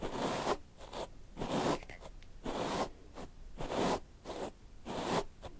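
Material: Hair.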